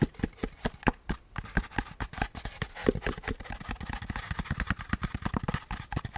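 Fingertips tap and scratch the curved surface of a hollow beige molded paper pulp cardboard packaging insert with a central groove. A quick run of short, dull, low-heavy taps with almost no ring blends with a soft papery scratching texture, which becomes denser toward the end.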